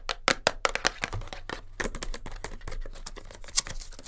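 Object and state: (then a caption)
Cardboard tape box. Long nails tap and scratch the sides and end of a small cardboard kinesiology tape box held in the hands, its top flap possibly open. The result is a fast, busy run of short, dry, bright clicks and scrapes that stop dead with almost no ring.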